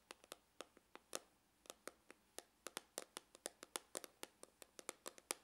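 Fingernails tap and scratch near the seam on the side of a hollow, dark grained faux-leather hard glasses case. About 27 quiet, dry, bright clicks arrive in an uneven rhythm, each dying away almost instantly with a slight hollow body and no low end.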